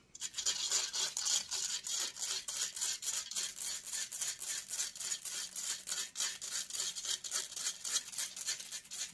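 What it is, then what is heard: Metal mesh microphone grille scratched with nails. Long acrylic nails scratch rapidly and repeatedly across the hollow metal mesh grille of a silver microphone. The result is a steady run of short, harsh scraping bursts, bright and hissy with almost no low end.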